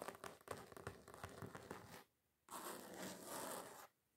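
Fingernail tips tap rapidly on a flat, solid red glitter-coated foam craft sheet for about two seconds, making sharp crackly clicks on its gritty surface. After a brief pause, the nails scratch across the sheet in a steady, hissing rasp, then stop.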